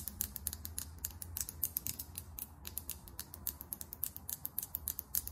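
Long almond-shaped acrylic nails tap fast on a small Fenty Gloss Bomb Heat lip gloss tube, a clear plastic, glass-look body filled with gloss, with a chrome-finish plastic cap. The result is a quick, uneven stream of sharp, bright little clicks that die away almost instantly, over a faint low hum.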